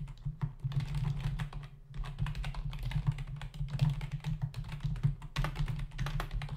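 Fingertips of both hands type fast on a full-size black plastic membrane computer keyboard with hollow keys, resting on a desk. Rapid, dense clicking taps with brief lulls sit over a steady low hum around 145 Hz.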